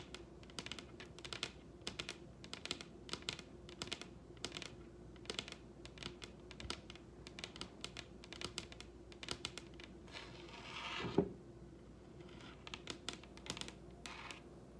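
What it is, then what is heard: Wooden tabletop tapped with nails. Long red acrylic nails tap rapidly with both hands on the large solid wooden tabletop of a dining table, making a dense run of sharp, bright clicks over a faint steady low hum. Near the end, a brief swelling rustle builds into one louder knock before the quick tapping resumes.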